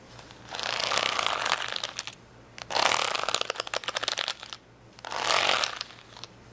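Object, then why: Acrylic rhinestones on a plastic sheet. A flat sheet of small colored acrylic rhinestones on a clear plastic backing, lying on a towel, is scratched and tapped with long fingernails. Three bursts of bright, crackly scratching come in, the middle one broken into a quick run of light clicking taps, with quiet gaps between them.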